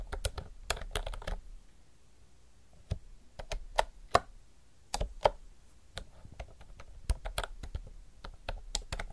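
Fingertips type continuously on a retro mechanical typewriter-style keyboard with round plastic keycaps. Quick, dry clicks come in bursts, with a lull around two seconds in and a few sharper, louder strikes near four and five seconds. The keystrokes are short and crisp over a low background rumble.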